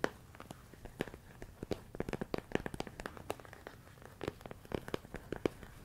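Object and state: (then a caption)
Plastic container full of rice. A medium clear plastic storage container full of rice grains is tapped with fingertips and nails in a rapid, irregular series of short, dry clicks and knocks. Each tap dies away almost instantly, with a faint crinkly rattle from the rice.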